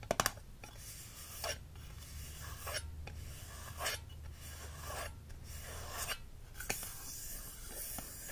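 Fingertips and short nails rub and scratch the textured glass side of a medium, heavy green glass candle jar, full of wax with a black lid, while one hand holds it. A few sharp clicks open the clip, followed by repeated soft, raspy scratching strokes over a low steady hum.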